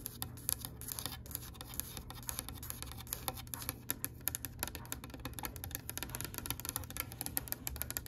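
Long pale pink acrylic nails tap and scratch on a solid oak-grain wooden tabletop, making rapid, sharp clicks with almost no ring. Soft scratching runs between the taps over a steady low hum.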